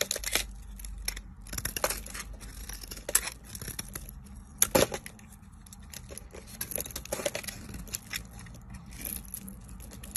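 A hand-sized, solid rectangular bar of pale green soap with a dark purple top coating, held in one hand with long nails, is scraped and shaved with a metal utility knife blade. The result is a run of crisp, bright scraping and tearing strokes with soft crinkly rustles in between. Curls fall onto a pile of shavings.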